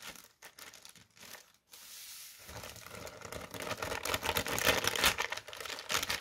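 Fingertips and short nails tap and scratch a strip of folded white tissue paper lying flat on a table. A few soft, separate taps and brief scratches give way to dense, bright crinkling and rustling that grows louder and busier toward the end.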